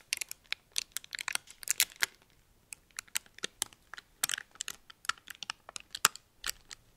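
A small, thin, crumpled red metallic foil wrapper is held up in the hands while fingers crinkle and flex it. Sharp, bright crackles come in quick, irregular bursts, each snapping off almost instantly with no low-end body.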